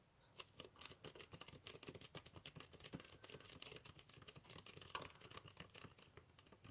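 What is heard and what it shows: A small rectangular metal sewing kit tin with a teal rim and a printed label on its lid, apparently hollow and filled with sewing items, is held up and tapped on the lid with fingertips and nails. The result is a quick, steady run of bright, dry, clicky taps that stop almost at once, like light typing.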